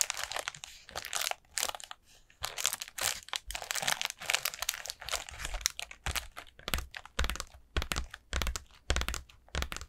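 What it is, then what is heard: Paper lantern. Long nails tap and scratch over the folds of a hollow, orange ribbed paper pumpkin lantern with a black plastic base. Rapid, crisp bursts of papery crinkling and crackling come in short, uneven clusters with brief pauses between them. The sound is bright and dry, with no ringing after each touch.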